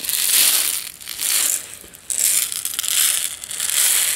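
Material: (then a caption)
Plastic. A medium plastic jar with a yellow lid, partly filled with instant tea granules, is rotated and shaken in both hands. The granules make a bright, hissing rattle that rises and falls in repeated swells, with a brief quieter dip between shakes.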